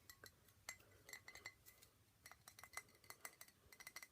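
A 700 ml glass bottle of single malt Scotch whisky, a birthday gift, is tapped in quick, irregular bursts. The taps make bright, short glassy clinks with a ringing tone near 2 kHz that fades almost instantly.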